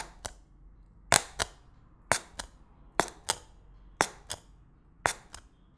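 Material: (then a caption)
Plastic film. A thin white stick pokes sharply through clear plastic cling film stretched over an empty glass bowl, the film already heavily punctured. Twelve short, bright popping punctures are heard, mostly in quick pairs, each snapping off almost instantly over a quiet background.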